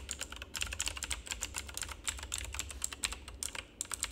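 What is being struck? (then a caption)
Plastic mechanical keyboard. Both hands type with their fingertips on a full-size black plastic mechanical keyboard with RGB backlight. They produce a fast, steady stream of short, bright clicks and clacks that die away almost instantly, over a faint low hum.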